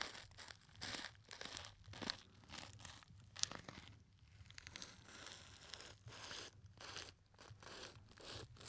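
A small, soft, hollow gold glittery fabric clutch purse with a metal clasp frame is held near the microphone and squeezed, crinkled and scratched with fingertips. The result is quiet, dry, bright crinkling and scratchy rustling in repeated short bursts, with a faint low rumble underneath.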